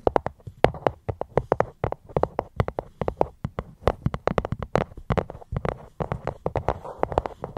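Fingers tap steadily on a fruit box held close to the microphone, giving a quick run of short, dry knocks. Each tap has a hollow low thump with a mid-pitched tone near 500 Hz and almost no ring.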